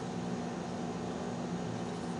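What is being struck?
Nothing is struck.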